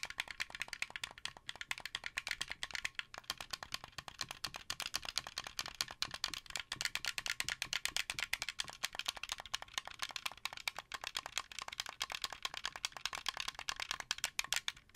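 A blue translucent, hollow, wired plastic Xbox 360 controller is held in both hands while fingertips and nails tap and press its face buttons over and over. The result is a dense, steady stream of quick, bright plastic clicks and taps that die away almost instantly, with almost no low end.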